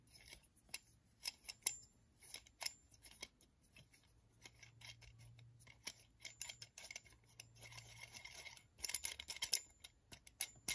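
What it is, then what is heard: Metal screw clamp. Fingers turn the threaded steel screw of a metal screw clamp with a black handle, scraping along the thread. The result is a quiet, bright, rasping metallic sound of short clicks and scrapes with no ring, clustering more densely near the end.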